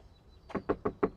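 Four quick knocks on a plastic rear body panel of a Porsche Panamera 4 E-hybrid Platinum Edition produce dull, short taps centred in the low-mids. Each dies away almost instantly, without the ringing "pong" a steel panel would give.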